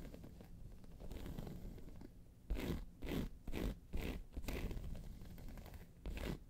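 Long pointed silver nails on both hands scratch and tap the top of a round, hollow, hard-shell tan handbag with a crocodile-embossed faux leather surface, resting on a fur rug. A low, muffled scraping rumble gives way to a series of louder, crunchy, zipper-like scratching strokes with bright edges, separated by brief pauses.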